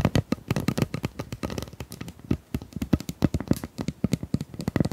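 Long nails tap and scratch along the corrugations of a hollow, ribbed pink plastic pop tube held in both hands. The result is a rapid, uneven stream of dry, clicky taps with a hollow, low plastic body and almost no ring. Faint scratchy rasps sit between the taps.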